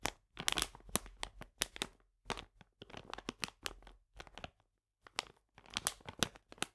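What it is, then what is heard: Full plastic bag of polenta. A full plastic bag of polenta is scratched with fingernails, then picked up and held upright. Bright, dry crinkling and scratching comes in quick irregular bursts, with brief quiet gaps in between.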